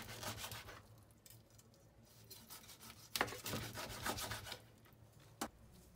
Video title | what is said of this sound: RÔTI DE PORC À LA PEAU CROUTILLANTE - Heo Quay - Cuisine vietnamienne authentique - Aller Ô Vietnam | l'extérieur de la viande est bien croustillant